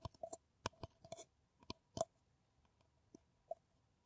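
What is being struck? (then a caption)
Paper coffee cup. Long nails tap an empty, hollow kraft paper coffee cup with a white rim in quick, irregular bursts, then a few sparse taps. Each tap is a short, dry click with a hollow papery knock around 660 Hz and bright crisp edges. The sound dies away almost instantly.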